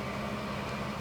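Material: Nothing is struck.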